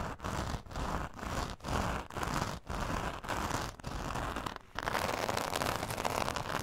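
Long nails on both hands scratch the rough surface of a glitter foam craft sheet lying flat on fur. The result is a dense, gritty crackling scrape, with short strokes separated by brief pauses. It ends in a longer, unbroken stretch of scratching.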